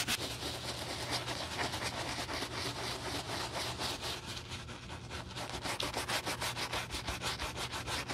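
The toe of a brown leather cowboy boot, foamy with cleaner and standing on a table, is scrubbed with a wooden bristle brush while a gloved hand holds the boot. The wet brushing gives a steady, bright, bristly swishing in quick back-and-forth strokes, roughly two per second, that continues throughout without stopping.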